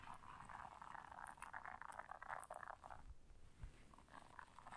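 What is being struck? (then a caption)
Silicone bristle scrubber pad. Long nails scratch the bristles of a round blue silicone bristle scrubber resting on fur. The result is a quiet, continuous, papery scratching and rustling centered in the midrange, with a couple of soft low thumps near the end.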